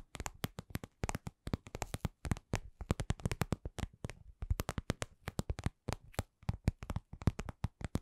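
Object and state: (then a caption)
Patent vinyl cosmetic pouch. A medium-size, soft, hollow, glossy red patent vinyl (PVC) cosmetic pouch shaped like lips is tapped with long nails and fingertips. The result is a quiet, steady stream of dozens of short, dry taps, each a soft low thump with a faint bright click on top that dies away almost at once.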